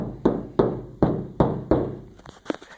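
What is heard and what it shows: Someone taps five times on the outside of a bare steel vehicle tub side panel whose inside has not yet been coated, then follows with a few softer taps. Each hit gives a hollow, ringing knock centered around 390 Hz that fades over a fraction of a second, in contrast to the coated roof.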